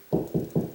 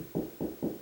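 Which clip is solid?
The second.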